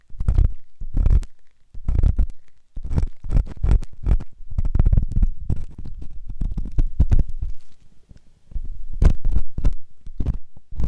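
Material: Silicone.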